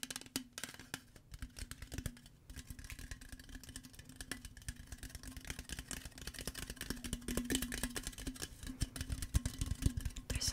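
A tall printed aluminum Arizona green tea can, held in the hand with its fill level unseen, is tapped and scratched with long fingernails and fingertips. The result is a dense, irregular stream of short, dry clicks and scratchy rasps over a faint steady low hum. The taps grow louder and sharper in the second half.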